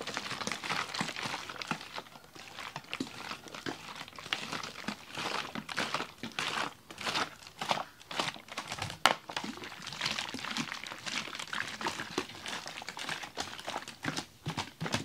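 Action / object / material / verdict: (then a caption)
shake / plastic water bottle with slushy ice water / plastic / none. A large clear ribbed plastic water bottle with a red cap, holding slushy ice water, is held in the hands and shaken and tilted. The result is a continuous stream of bright crinkling and crunching as ice slush knocks and sloshes against the plastic, with dense quick clicks and a sharper snap near the middle.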